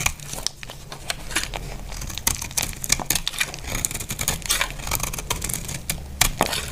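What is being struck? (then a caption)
Bar of soap cut with a knife blade. A utility knife blade scrapes and slices a solid, dry, cream-white bar of soap held in the hand. It makes a rapid run of crisp, bright crackling and crumbly scraping clicks over a steady low hum.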